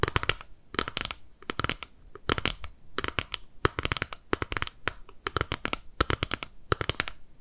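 Long nails tap and scratch a small, flat, clear plastic eyeshadow compact with pink eyeshadow inside, held in both hands. Rapid clusters of crisp, bright clicks and short scratches come in quick bursts separated by brief quiet gaps. Each tap dies away almost instantly, with a light low thump underneath.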